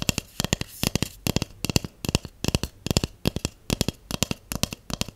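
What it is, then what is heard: Empty hollow cardboard tube. A large, empty, hollow white cardboard tube held in one hand is tapped with long acrylic nails and shorter natural nails. Rapid clusters of short, dry clicking taps repeat steadily, each with a hollow low body and bright nail ticks that die away almost at once.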